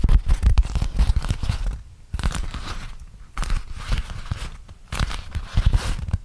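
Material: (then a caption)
Waxed cotton. A flat printed beeswax-coated cotton food wrap, about 30 cm across, is held in both hands while fingertips crinkle and flex the stiff waxed fabric. Dense bursts of sticky crackling and crumpling come in waves, with a deep, low rumble underneath and brief quieter gaps between.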